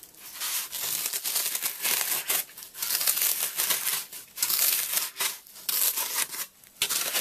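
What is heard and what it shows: A metal fork is dragged across a rectangular, brick-sized block of solid, porous phenolic floral foam dusted with white powder on top, scratching grooves into it while one hand holds the brick steady. The result is a series of bright, dry, crumbly scratching and crinkling strokes with almost no low end, separated by brief quieter pauses.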